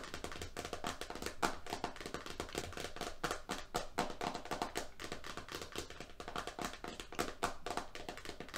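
Fingertips and painted fingernails of both hands tap fast on the label face and rim of a medium-size roll of green FrogTape painter's masking tape, a solid roll around a hollow core with a printed cardboard-and-plastic label disc over the face, lying flat on a striped surface. The result is a quick, uneven patter of dry, clicky taps with short decays, each carrying a faint hollow low thump beneath a brighter tick.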